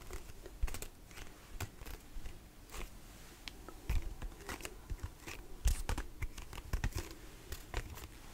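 Fingernails tap and scratch the body and label of a large, hollow white plastic lotion pump bottle with lotion inside. The result is an irregular run of quick, dry taps and crinkly scratches, each carrying a dull low thump and a brief bright click that dies away almost at once.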